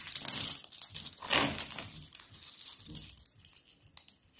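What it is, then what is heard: Dry soap sheets crushed. Thin, brittle stacks of dried orange-yellow soap sheets are crushed in both hands with long pink nails over a pile of flakes. The result is dense, bright, dry crunching and crackling, loudest in the first second and a half, then thinning into scattered small snaps and crinkles as the crushing fades.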